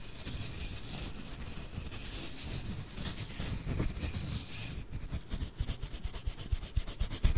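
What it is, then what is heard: Plush fabric toy being rubbed. Fingertips rub and squeeze the fabric surface of a small soft plush snowman toy, made of white fuzzy fabric with a grey scarf and hat, held in both hands beside the microphone. A steady, soft, brushing rustle with low muffled thumps and a faint bright hiss becomes choppier and more scratchy in the last couple of seconds, with short, sharper rubbing bursts.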